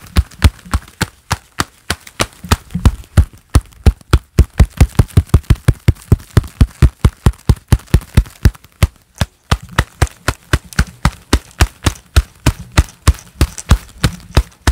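Hands in a pair of black leather gloves clap together in a steady run of about 62 claps over roughly 15 seconds. Each clap is a short, dull, low-heavy slap that dies away almost at once, with only a faint bright edge.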